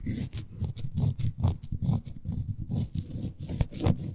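Long nails scratch along the beige glittery faux suede fabric covering a miniature toy couch. The result is a steady run of short, dull rasping strokes, mostly low in tone, with faint bright hiss at the peaks and almost no ring after each pass.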